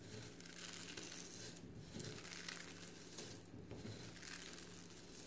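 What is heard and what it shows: Fingers in white rubber or latex gloves rub, crush and crumble handfuls of small brown and white eggshell fragments in a clear glass bowl, with some sound possibly coming from the shells touching the bowl. The result is a steady, bright crackling and crunching with small clicks, over a faint low hum.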